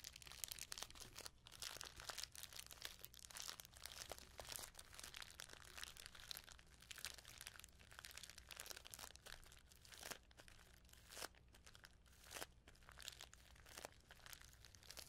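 Hands with long nails crinkle and pinch a small clear plastic bag full of sequins with a paper label. The result is a steady stream of soft, bright crackles and crunches with occasional sharper snaps, over a faint low hum.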